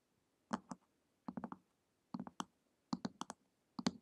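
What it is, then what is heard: Hardcover book tapped with fingernails. Long acrylic nails tap and click on the glossy printed cover of a flat, solid hardcover book lying on a table. About fifteen short, dry clicks come in quick clusters of three to four, each with a soft low thump under a brighter tick. They stop almost instantly, with no ring.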